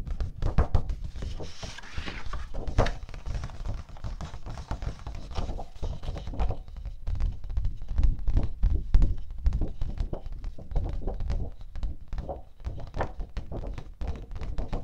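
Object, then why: Thin cardstock paper sheet. A thin teal cardstock sheet, held at an angle, is tapped continuously with the fingertips and long nails of an open hand. The result is a dense, steady stream of quick, dull, low thunks that die away almost instantly, with a few louder taps standing out here and there.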